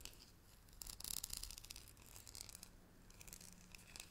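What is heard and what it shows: Long nails scratch and tap along the side of a hollow green cylindrical metal tea tin with a gold lid. The result is bright, crackly scraping in irregular bursts, loudest early on, with quick, dry taps that stop almost instantly over a faint low hum.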